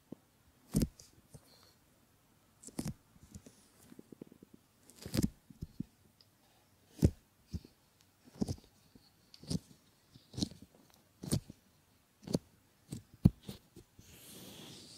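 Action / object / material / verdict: scrape / silicone ear models / silicone / none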